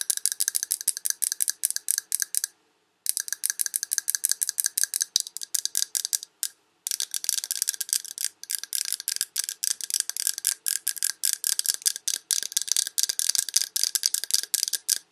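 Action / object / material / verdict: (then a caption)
tap / glass candle jar full of wax / glass / none. Long red nails tap and scratch a large glass Yankee Candle jar full of wax, across both the glass and its paper label. The result is a dense run of quick, bright, dry clicks and scrapes with no low end, broken by two short pauses.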